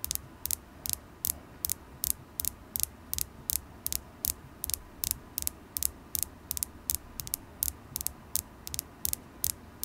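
A solid, polished carnelian stone point held in the fingers is tapped with long acrylic nails, producing about 31 sharp, bright clicks in a quick, somewhat uneven rhythm. Each tap stops almost instantly with no ring, over a faint low rumbling background.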